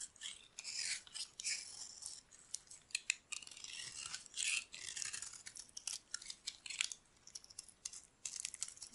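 A metal blade carves a solid, dry, oval yellow bar of soap held in the palm, cutting it into crumbly chunks with a scratching, cutting action. Quiet, dry, bright scraping and crisp crunching come in irregular short bursts and longer strokes, with almost no low end and no ring after each cut.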